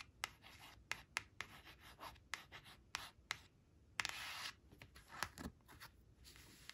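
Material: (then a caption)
Laminated card. Long acrylic nails rub and scratch the glossy face of a thin, flat laminated cardstock flash card marked "8 eight" as it lies on a woven cloth, and the card shifts slightly. Quiet, bright, dry scratching and rubbing is broken by about thirteen sharp nail clicks, with one longer hissing scrape near the middle.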